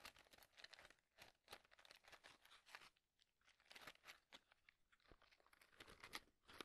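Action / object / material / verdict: scrape / cardboard matchbox tray filled with wooden matches / cardboard / none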